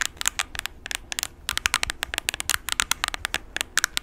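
Short nails tap and scratch the keys and plastic body of a handheld plastic graphing calculator with a blue rim and a keypad. About two dozen quick, bright clicks and ticks come in uneven bursts, each dying away at once, with faint crackly scratching between them and almost no low end.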